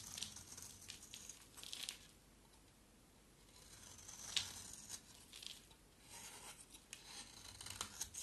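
A small solid oval white soap bar with a black outer layer is scraped with a box-cutter blade, peeling off curls of soap. Quiet, bright, papery scraping and tearing strokes come in bursts, with a short sharp scrape near the middle, separated by near-silent pauses.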